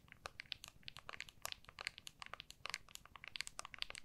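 Long nails rapidly tap and scratch the back of an iPhone in a clear hard plastic MagSafe case, held in both hands. The result is a quiet, dense run of short, dry, bright clicks and crinkly scratches centered around 2.7 kHz, with very little low end.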